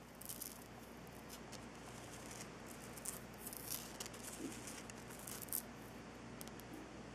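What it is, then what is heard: Salt rock lamp. Long nails and fingertips tap and scratch the surface of a solid, lit Himalayan salt rock crystal lamp. Soft, dry clicks and bright, scratchy rasps come in irregular bursts over a steady low hum. The taps are short and quiet, with barely any ring.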